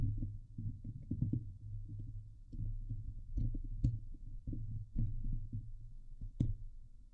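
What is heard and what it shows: Long glitter nails scratch across the hollow steel mesh dome grille of a Blue Yeti microphone. The sound is a dense, muffled, low rumbling scrape heavy in the bass, broken by short thumps and a few sharper bright ticks.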